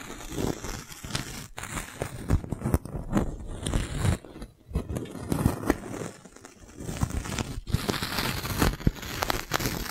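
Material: Plastic.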